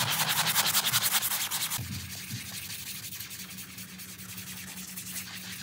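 A gloved hand scrubs a small printed low-pile synthetic doormat rug covered in foam with a round stiff-bristle brush. Quick, rhythmic bristly strokes give a bright, hissing scrub that is loudest in the first couple of seconds. It then settles into softer, steadier scrubbing with a faint low hum beneath.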